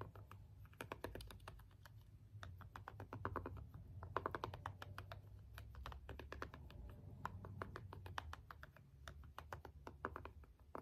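The rubbery buttons of a small, hollow plastic LED remote are pressed and tapped with the end of a small green jade stone roller. The result is a quiet, rapid stream of short, dry clicks and taps, bunched into quick runs with brief pauses, over a faint low hum.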